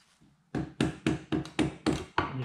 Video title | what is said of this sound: Ducati wet clutch replacement pre 1998 | the best way to get them to come loose is just to tap them with a soft hammer and you can hear it